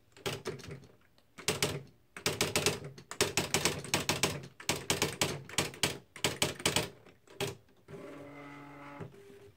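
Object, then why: Plastic electric typewriter. Fingertips type on the plastic keys of a beige plastic Smith-Corona Mark V electric typewriter with typed paper in the carriage. Bursts of sharp, bright clacking come in quick runs separated by short pauses. Near the end, the keystrokes stop and a steady, low tonal hum carries on for about a second.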